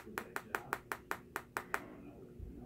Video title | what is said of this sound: Should you buy the LG G5 and 2018 | it sounds like plastic it's not but listen again like that doesn't sound like metal at all